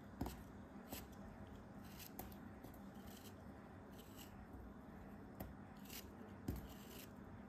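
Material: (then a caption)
Kinetic sand. A metal craft knife blade slices and scrapes through a hand-sized, solid packed block of orange kinetic sand, held in the hand while fingers with long dark-painted nails steady it. Quiet, soft gritty crunching and scraping run throughout, broken by four sharper, crisp cuts with bright hiss that fade almost instantly.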